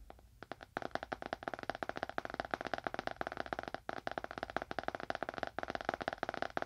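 A small, dark, solid leather-bound book, held upright in both hands in front of a binaural microphone, is tapped quickly with the fingernails of both hands. It produces a rapid, dense stream of short, dry clicks with almost no ring, centered in the midrange around 700 Hz. A few sparse taps open the stream, which continues in fast bursts broken by brief pauses.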